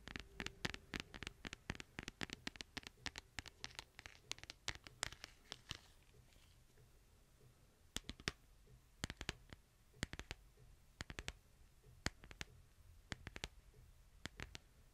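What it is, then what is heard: Smartphone in plastic case. Fingernails tap the back of a smartphone in a white plastic case held in one hand. Rapid, dense clicky taps fill the first six seconds, then they thin out into sparser bursts of sharp, bright clicks with no ring, over a faint low hum.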